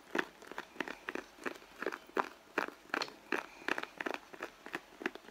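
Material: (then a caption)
Leather. Long blue nails scratch and tap the side of a red pebbled-leather handbag, soft and hollow, while the other hand holds the bag. The result is a quick, uneven series of dry, crisp taps and scratchy crinkles, about two or three per second, centered in the upper midrange with no low end. Each sound stops almost at once.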